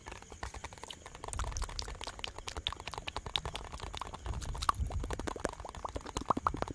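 A small clear plastic bottle with a white cap and a red-and-white label is held close to the microphone and tapped and scratched with fingertips and nails. Dense, quick, dry clicks and taps run throughout, with a soft low thumping underneath and scratchy rustling between the strikes.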